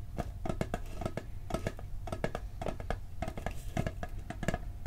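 Fingertips and nails tap quickly on the lid of a hollow, round blue steel cookie tin. The taps come in an uneven, rapid stream of short, dull clicks with a low body and a faint metallic tone. Each tap dies away almost at once.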